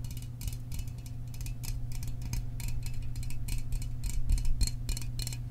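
A small aluminum soda can is tapped quickly and irregularly, giving short, bright metallic ticks with almost no ring. The taps sit over a steady low hum that makes up most of the energy.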